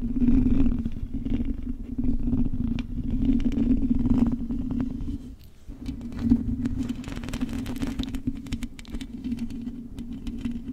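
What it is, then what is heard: Metal microphone mesh grille. Long acrylic nails scratch across the hollow metal mesh grille of a silver microphone, making a dense, rapid, irregular scratching with a steady low hum around 230 Hz underneath. The sound dips briefly about halfway through, then resumes with brighter, crisper scrapes.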